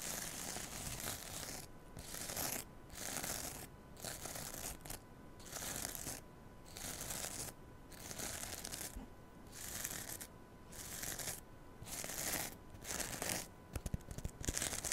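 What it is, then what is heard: Foam kitchen sponge with scouring pad. Fingernails scratch and rub the green scouring-pad side of a rectangular foam kitchen sponge held close to the microphone. The result is a steady run of bright, rough scratching in repeated bursts of about a second each, separated by brief quieter gaps.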